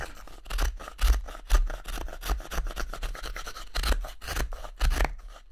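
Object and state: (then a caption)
Wooden spoon blank being whittled. A small carving knife makes many short whittling and scraping cuts along the pale solid wood handle of a wooden spoon blank held in one hand. Dry, bright scraping strokes come about twice a second at an uneven pace over a low, thumping rumble, with a few louder cuts standing out.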